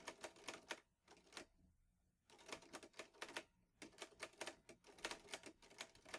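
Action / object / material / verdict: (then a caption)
tap / metal portable typewriter / metal / none. Fingertips type steadily on the keys of a vintage teal Underwood Olivetti Lettera 22 metal portable typewriter with paper loaded. Quick, bright, dry key strikes come in bursts, with a brief pause after the first second before the clacking resumes and carries on to the end.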